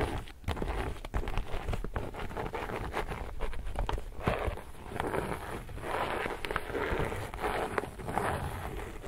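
Fingertips and nails rub and scratch the surface of an empty, glossy laminated woven polypropylene reusable tote bag held upright. The result is a continuous, dense crinkling and scratching, mostly low and muffled, with quick sharp clicks scattered throughout.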